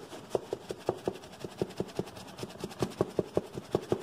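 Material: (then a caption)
Cardboard. A medium brown cardboard box with a barcode label, hollow and held up, is rubbed and tapped quickly with the fingers. Fourteen short, hollow, mid-pitched taps come at an uneven pace, each dying away at once. A soft, steady scratchy rubbing runs underneath.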